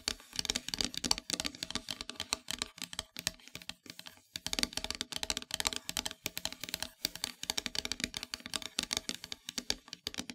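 Long metallic nails tap and scratch rapidly across a flat, solid, dark painted wooden heart-shaped plaque. The result is a dense stream of quiet, dry, bright clicks and scratchy rasps with almost no low end and no ring after each tap.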